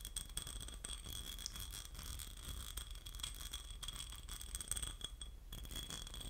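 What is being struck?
Textured glass votive cup.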